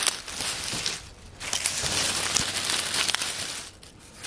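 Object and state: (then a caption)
Pile of dry oak leaves. Bare hands pat and rustle a loose pile of dry brown oak leaves on a wooden table, using fingers and palms. The result is a bright, crisp crackling and crinkling that is mostly high-pitched with little low end, easing briefly around the one-second mark before picking back up and fading quieter near the end.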